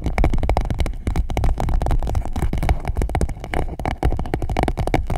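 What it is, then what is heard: Clear plastic pouch. An empty clear PVC pouch wrapped around the microphone is scratched and rubbed with long nails and fingertips. The result is a dense, continuous run of fast crinkling scrapes over a heavy, close, low rumble, with brief dips in the motion before it picks up again.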